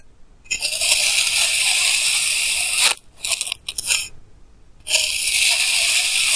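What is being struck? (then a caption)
Kinetic sand block cut with a plastic knife. A clear plastic knife held in hand slices thin layers from solid pink kinetic sand blocks, picked up close by a clip mic. Two long, steady, bright crunchy scrapes are heard, separated by a few short crackly crunches and brief quiet gaps.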